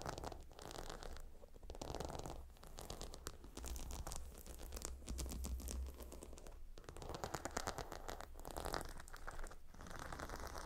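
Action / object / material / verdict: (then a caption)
scrape / pillow with glossy gemstone tiles / stone / none. Fingernails tap and scratch across the glossy brown stone tiles of a gemstone hot stone pillow, producing a dense stream of quick, dry clicks and raspy scratches. The sound stays quiet and close throughout, with a soft low rumble underneath and brief pauses between bursts of scratching.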